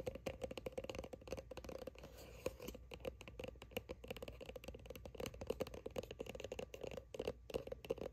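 Long nails tap rapidly on the label of a soft plastic sunscreen squeeze tube, which is held close and appears filled. The result is a quiet, continuous patter of dry, clicky taps with a hollow mid-pitched tone and very quick decay, mixed with faint rattling and scratching.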